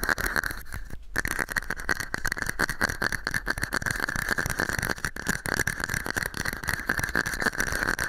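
Fingernails scratch and tap on a small, hollow, empty red and white plastic cup held over the microphone. A dense, continuous stream of quick scratchy strokes and short taps with a steady hollow resonance around 1.6 kHz runs throughout, with brief dips between bursts.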